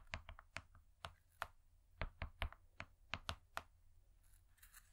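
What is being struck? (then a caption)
Foil-laminated cardboard cake board. Long nails tap rapidly on a thin, flat, gold foil-laminated cardboard cake board that has been turned over. The result is a quick, irregular run of crisp, papery clicks, each with a dull low thud and a bright crackly edge, dying away almost at once. They thin out into a faint, quiet rustle by the end.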